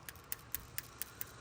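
An old PCV valve removed from a Subaru EJ251 engine is shaken for a shake test, giving six light, sharp rattling clicks at a steady pace. It rattles freely and sounds about the same as a new one, so it is not stuck, though it has gunk on it and is past its service interval.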